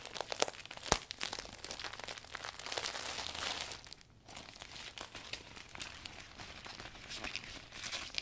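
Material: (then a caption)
Vinyl plastic. Hands unfurl and rustle the thin transparent canopy of a new clear polka-dot vinyl umbrella with metal ribs, crinkling the plastic. Dense, bright crackles and crinkles run throughout, with a sharp louder crackle near the first second and a brief lull around four seconds before the rustling resumes.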